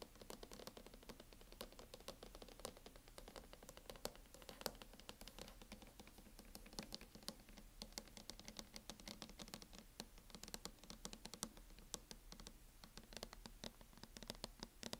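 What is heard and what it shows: Long nails tap quickly on the lid and edge of a closed laptop in a teal matte plastic hard-shell case, making a dense, steady patter of short, dry clicks. Each tap is sharp and bright with almost no ring, over a faint low hum throughout.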